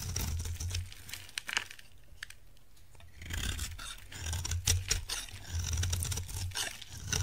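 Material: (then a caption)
Soap. A utility knife blade carves a solid, dry orange soap bar, giving crisp scraping and crumbly tearing sounds. Crumbly chips fall onto a pile. The sounds come in bursts, with a quieter pause near the middle and a steady low hum underneath.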